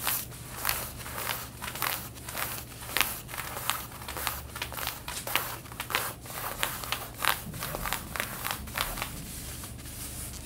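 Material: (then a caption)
Denim. Long red-painted nails scratch the fabric of light blue denim jeans being worn, around the back pocket area. Quick, irregular rasping strokes come about a hundred times a minute, each a bright, dry burst of scratchy texture over a faint steady low hum.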